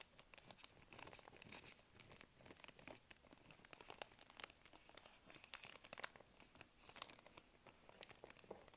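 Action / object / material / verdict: scrape / plastic snack wrapper / plastic / none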